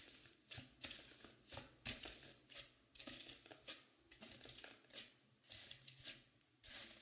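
Long pink nails scratch and rub the top and side of a dark blue velvet-flocked foam mannequin head. The result is a quiet series of bright, brushy scratching strokes, each swelling and fading quickly, with almost no low end.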